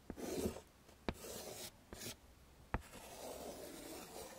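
A hand scratches chalk along the lower part of a drawing on a wood-framed chalkboard, making rasping strokes. Bursts of broadband scraping are broken by four sharp taps of the chalk against the board, and a faint low hum sits underneath throughout.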